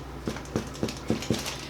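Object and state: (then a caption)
Sourdough loaf, hollow-sounding and baked through. A homemade sourdough loaf, just out of the oven, is tapped on its bottom five times, giving soft, short, hollow thuds with a low resonance. The hollow sound shows the loaf is baked through and done.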